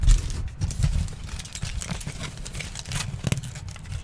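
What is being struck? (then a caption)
Aluminium foil sheet. A crumpled sheet of aluminium foil is shaped and crinkled by hands close to the microphone. Dense, bright crackling and rustling come in uneven bursts over low, muffled handling thumps throughout.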